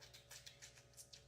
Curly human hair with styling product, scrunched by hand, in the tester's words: if you don't hear that, then your hair isn't wet enough.